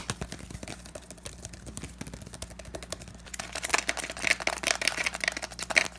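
Fingertips and nails quickly tap and scratch the body and cap of a hand-sized pink plastic cosmetic tube bottle, likely filled. The result is a rapid run of dry, bright clicks and scrapes that are soft at first, then turn louder and sharper about halfway through.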